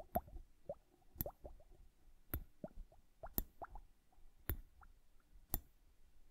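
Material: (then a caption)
Glass, liquid. A liquid-filled glass bubble hourglass is tapped with long nails, then tilted and turned by hand. Six sharp, bright taps land about a second apart, with soft, low plops and bubbling from the liquid in between. The sound is quiet and close.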